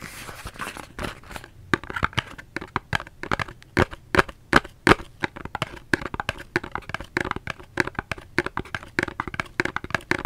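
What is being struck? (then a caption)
Cardboard soap box. A cardboard soap box is tapped with the fingertips, giving a quick, irregular run of dozens of short, dry taps. Each tap is crisp and papery with almost no ring, a hollow midrange knock over faint crinkling. The taps come at varying loudness with brief quiet gaps between them.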